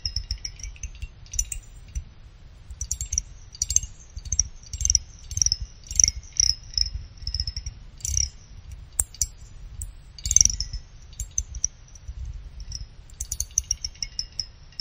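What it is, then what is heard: Aluminum CPU heatsink. A pick runs rapidly along the fin edges of a small finned aluminum CPU cooler heatsink, producing bursts of fast, dry clicks. The clicks have a high, bright metallic ring and die away almost instantly, over a faint low rumble.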